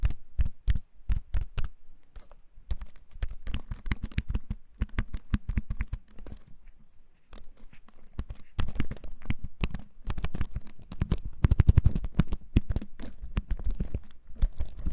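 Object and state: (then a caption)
Wooden-frame keyboard with plastic keys. A compact keyboard with a wooden frame and plastic keys is held up close and typed on with the fingertips. It produces a dense, uneven run of short, dry clicky keycap taps with a deep, low-heavy thump, growing busier and louder toward the end.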